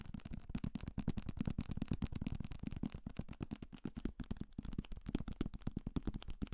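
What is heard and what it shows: A thick paperback copy of the novel 'Salem's Lot, with a paper cover and pages, is held as a solid block of paper in one hand near the microphone and tapped fast with the fingertips of the other hand. The result is a rapid, continuous stream of dull, dry thuds that are low and muffled, with almost no ring after each tap.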